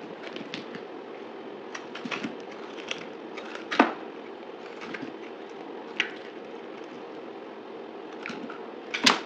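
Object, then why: Bar of soap cut with a knife. A utility knife scrapes and slices a solid blue dried soap bar held in the hand. A steady, papery scraping runs throughout, broken by crisp crackles and a few sharp, bright snaps as the blade cuts through. The strongest crack comes at the very end.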